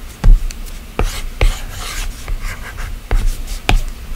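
A plastic stylus tip taps and scratches strokes across the solid glass screen of an iPad. Several dull, low knocks punctuate a soft, bright rasping between them.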